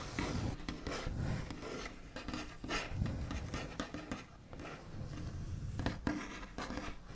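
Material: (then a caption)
Wood. The backs of fingernails rub and scratch across a large, solid wooden tabletop with a smooth white finish. The result is a steady, scratchy rasping texture weighted toward low frequencies, with short bright scratch bursts rising above it. The level swells and dips with each stroke.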